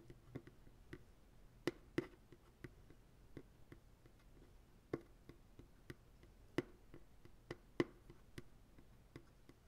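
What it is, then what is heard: Empty plastic pail. Fingertips tap the base and sidewall of a medium white plastic ice cream pail, hollow and empty and held sideways. The result is an irregular series of short, soft, hollow knocks with a low-mid tone around 350 Hz, each dying away almost instantly, with a few sharper, louder taps standing out.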